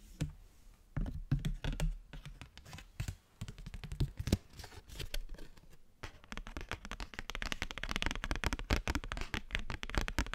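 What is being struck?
Thin cardstock postcard.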